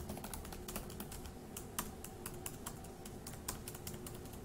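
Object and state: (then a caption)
Plastic laptop keyboard being typed on. One hand's fingertips quickly tap the plastic keys of a dark grey laptop keyboard. The result is a fast, uneven stream of light, bright clicks that die away almost at once, heard over a low, steady background rumble.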